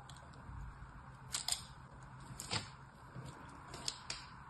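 A thin blade scores crossing lines into the top of a small, solid red bar of soap that lies on a patterned cloth, held by fingertips, with other soap bars lined up nearby. Over a low, steady background hiss, the blade makes a series of short, crisp, bright scratching scrapes, each fading almost at once.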